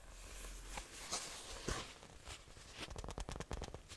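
Long nails from both hands tap and scratch the cover of a closed, book-sized, solid brown faux leather notebook. A few spaced, crisp taps come over a soft, continuous scratching hiss. A quicker run of bright taps follows near the end.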